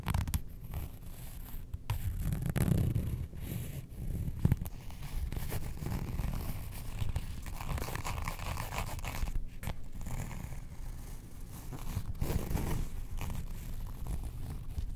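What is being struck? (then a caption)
Printed faux leather wallet. Long nails scratch and tap the front surface of a printed faux leather Star Wars wallet lying on a rug. The result is a steady, muffled, low-heavy scratching texture with soft, quick taps that stop dead, and almost no bright content.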